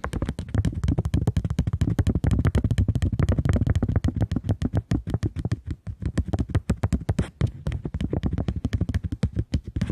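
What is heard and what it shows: A curved polymer plastic £20 banknote is held in both hands while long nails tap and scratch it quickly. The result is a rapid, steady stream of short, dull taps with a soft, thumpy low body and faint crisp scratching, each tap dying away almost instantly.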